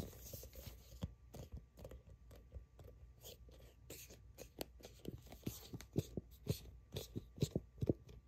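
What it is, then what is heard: Plastic tube tapped and scratched with nails. A plastic sunscreen tube is turned in the hands while long acrylic nails grip, tap and scratch its printed surface. Soft, dry taps and short scraping strokes come at an uneven pace over a quiet low hum, growing a little sharper and more frequent toward the end.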